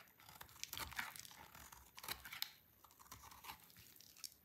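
A utility knife blade held in the fingers shaves a small, solid, dry white-orange soap bar, dropping flakes onto a pile. The result is a series of crisp, bright, crunchy scraping and crackling strokes that rise and fall in loudness, with little low end.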